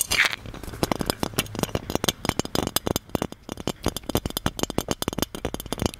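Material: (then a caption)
Metal. A hollow gold metal genie lamp is tapped and scratched with fingertips and nails, then turned to show its base. A rapid string of sharp, dry clicking taps and light scrapes, bright with a low metallic body, each dying away almost instantly.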